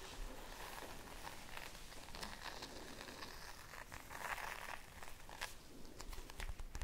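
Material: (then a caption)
Plastic. Long nails tap quickly on the plastic cover of a red spiral notebook held in both hands. The result is a quiet, continuous run of crisp, crinkly ticks with a soft rustle and a few brighter clicks near the end.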